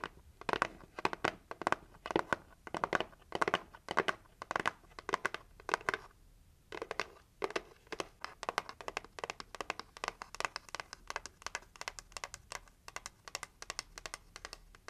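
Long nails scratch and tap the lid and edge of a pink heart-shaped cardboard gift box as it is tilted and handled. Dense bursts of dry, crisp scratching and quick taps come in clusters with brief pauses, and a short lull occurs near the middle. The sound is bright and papery, with almost no low end.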